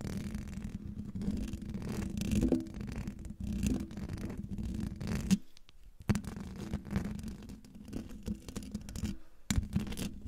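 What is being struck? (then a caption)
Metal mesh microphone grille. Long dark fingernails of both hands scratch fast across the hollow metal mesh grille of a silver microphone. The result is a dense, low, rumbling scratch with a steady hum near 200 Hz, broken by short pauses around the middle and near the end.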